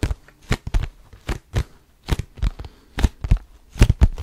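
Fingertips grip and scratch the sides of a cardboard tissue box with tissues showing, held close to the mic. A series of short, dry scratching and crinkling bursts comes in quick, uneven succession, heavy in low thumping body with little high-end. Each grip stops sharply with no ring.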